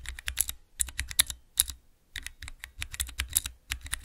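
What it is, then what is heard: Plastic key switch tester being pressed. Fingertips rapidly press the keys of a small clear plastic 3x3 key switch tester fitted with Cherry MX mechanical switches. Bright, crisp clacks come in quick flurries, each with a short low thud beneath. The strokes die away almost instantly, with brief pauses between the bursts.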